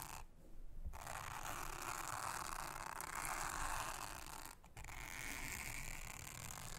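A soft toothbrush brushes across a thin, solid, round blue silicone honeycomb trivet mat, making a steady, dense scratchy rustle with a bright midrange hiss. The sound runs continuously, with a brief drop in the middle before the brushing resumes.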